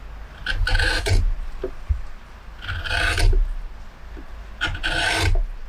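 A metal hook or spoon gouge carves and scrapes the hollow, dished inside of a large carved wooden plate, held in a workbench and full of pale wood shavings. Three rasping strokes are heard, each a bright, gritty scrape over a low rumbling body. Quieter, softer scraping fills the gaps between strokes.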